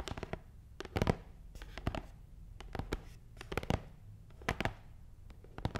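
Long nails tap on the top of a long, hollow, black matte cardboard box. Irregular clusters of quick, dry taps are heard, each with a bright clicky edge over a hollow, low thud that stops instantly without ringing. Quiet pauses separate the clusters.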